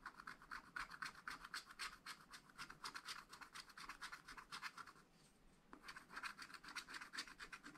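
A wooden stylus scratches the wax coating of a scratch-art paper pad while drawing flower stems. Quick, bright, dry scratching strokes repeat about four times per second, pause briefly near the five-second mark, then resume.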